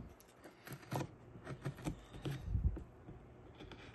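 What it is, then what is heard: Wooden carving being scraped with a blade. A small metal prybar-style blade, held in the fingertips, scrapes and scratches wood off the surface of a small solid wooden greenman face carving clamped to a plywood board. About ten short, dry scraping strokes sound quietly, mostly low and thuddy with brief faint rasps, and stop quickly without ringing.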